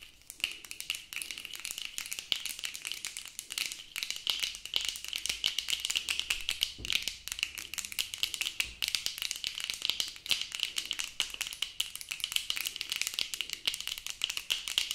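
Plastic-framed sunglasses worn on the face are tapped rapidly on the frame and lenses with the tips of long acrylic nails. A dense, continuous stream of short, bright clicks with a sharp tone near 3 kHz runs through the whole clip, with almost nothing in the low end.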